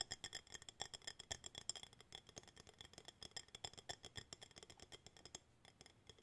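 An empty clear glass jar with a bamboo lid is held in both hands and tapped on its glass sides with fingertips and nails. It gives a quick, uneven run of light, bright clicks and taps with a high glassy ring, each dying away almost at once.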